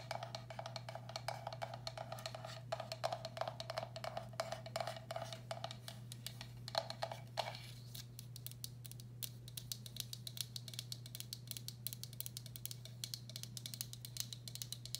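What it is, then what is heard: Ceramic bowl tapped with fingernails. Long black acrylic nails tap rapidly across the outer wall and underside of a medium, hollow, empty turquoise speckled glazed ceramic bowl. The taps are quick, dry clicks with a short ringing tone around 660 Hz that fades fast. Partway through it shifts to brighter, scratchier tapping over a steady low hum.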